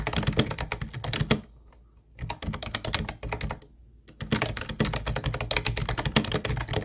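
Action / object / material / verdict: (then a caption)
tap / plastic keyboard with round plastic keys / plastic / none. Fingertips of both hands type rapidly on a hollow teal plastic Ubotie keyboard with round white plastic keys, producing dense bursts of clacky taps with a hollow low thud and bright clicks. Each stroke dies away almost at once. Typing pauses briefly twice before resuming in steady runs.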